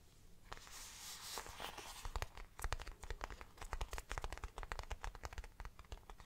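Long black nails scratch and rub the plain, grained back panel of a small, hollow, round brown faux leather bag. A soft, breathy rubbing hiss gives way to a quick run of sharp, dry scratching clicks over a low, dull thud from the hollow bag.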